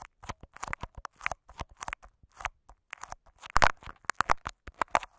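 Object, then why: Plastic adhesive tape wrapped over a microphone. Short fingernails of both hands scratch and crinkle clear Scotch tape wrapped over a microphone capsule. The result is a rapid run of dry, crackly crinkles and scratchy bursts, very close and full-bodied, with the loudest crunches near the end.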